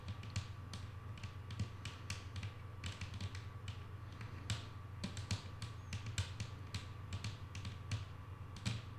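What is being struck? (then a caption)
Wooden tabletop. Long manicured nails tap a flat, solid wooden tabletop with both hands in quick, irregular bursts. The soft, bright clicks stand out sharply and die away fast, over a steady low hum near 110 Hz.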